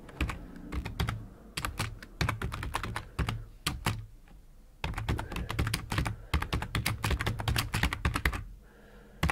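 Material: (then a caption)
Plastic. Fingertips of both hands type continuously on a black plastic computer keyboard with hollow plastic keycaps, resting on a wooden desk beside an idle mouse. Bursts of rapid, short clacking keystrokes pair a dull low thud with bright clicks, separated by brief pauses.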